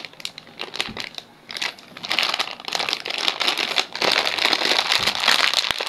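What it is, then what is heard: Metallized plastic snack bag. A small sealed Poppitos nacho chip bag of shiny metallized plastic film, full of chips, is held in both hands and crinkled and squeezed with the fingertips. It makes bright, irregular crinkling and crackling that starts soft and grows denser and louder after about two seconds and again near four seconds.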